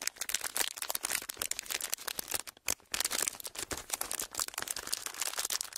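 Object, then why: Thin clear plastic wrapper. A thin, clear plastic packaging sheet, folded into a small, hollow, empty pleated strip, is held in both hands and squeezed and crinkled with the fingertips in front of the mics. It makes a continuous run of dense, bright crackles and snaps with almost no low end. Each crackle stops instantly, and a brief lull comes near the middle.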